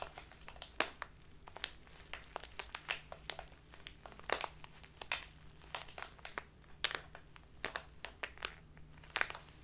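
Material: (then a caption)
Plastic. A clear, labeled plastic tea package full of loose tea is crinkled and squeezed by both hands with long nails. The result is a steady run of crisp, bright crackles and sharp snaps that die away almost instantly, over a faint low hum.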